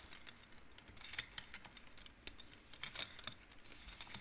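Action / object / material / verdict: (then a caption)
flick / wooden abacus with wooden beads on rods / wood / none. Fingertips slide colored wooden beads along the metal rods of a large wooden-framed abacus so they clack together. The result is a quiet, irregular run of quick, bright clicks that die away almost instantly, with a few sharper clusters near the middle.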